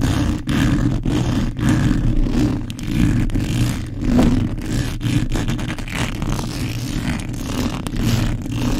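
Long pointed acrylic nails and the fingertips of both hands rapidly scratch and rub the black metal mesh grille of a large desk condenser microphone, with its hollow head uncovered by foam, right against the capsule. The result is a dense, boomy, low rumbling scrape that runs almost continuously, with brief dips between quick, uneven strokes.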